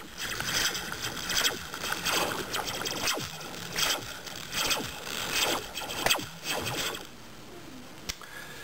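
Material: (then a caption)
Metal. A metal slinky spring is dropped near the ear, making a quick series of bright, twangy, laser-like zaps that sweep downward in pitch. Each zap rings only briefly, and the last comes after a short pause before the sound fades to a faint hiss.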